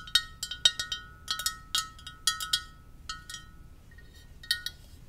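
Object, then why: Ceramic mug. Long purple nails tap the side of a hollow white ceramic mug with script lettering, held tilted. An irregular series of sharp, bright clinks rings briefly, each with a short high tone.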